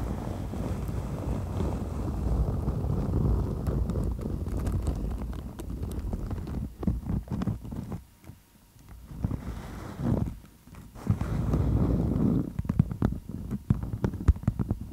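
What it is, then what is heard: Beeswax-coated cotton food wrap. A beeswax-coated cotton food wrap draped over a microphone is scratched and gripped with long nails. Dense, muffled rustling and crinkling fills the low end, broken midway by sharp clicks and taps before a brief near-silent pause. The rough scratching then resumes, louder and steadier, with scattered crisp snaps toward the end.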